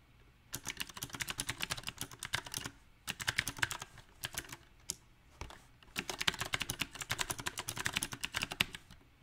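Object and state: Mechanical keyboard with round plastic keycaps.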